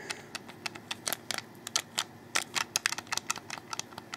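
Fingertips rapidly click the triggers and bumpers and tap the underside of a hollow, handheld black plastic Xbox 360 controller. About twenty sharp, dry, bright clicks and taps come in quick irregular bursts, each dying almost instantly with no low-end body.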